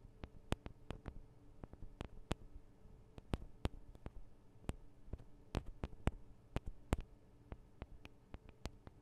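Long acrylic nails on both hands tap the small hollow metal microphone capsules of a Tascam DR-40 recorder. The result is a quiet, irregular stream of sharp, dry clicks that stop almost instantly, over a faint steady low hum.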